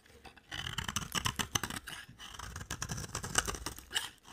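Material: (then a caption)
Soap. A utility knife blade scrapes shavings off a solid, cream-colored dry soap bar held in a hand with long dark nails. It makes a rapid series of crisp, dry scraping strokes with bright, gritty texture and almost no ring after each stroke.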